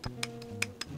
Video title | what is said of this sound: KSC US M9 GBB (System 7) 2022 全新开箱 Unboxing Review | 你会听到一些金属喷薄声，这个是绝对没有问题的